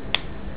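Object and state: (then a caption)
Hollow mobile phone back. A police officer taps a finger once on the back cover of one of a suspect's three mobile phones, making a single short, bright click centered around 3.4 kHz that dies away almost instantly over a steady low background hum. The phone sounds hollow, and when the cover is opened, a packet of amphetamine is found hidden inside the hollowed-out battery.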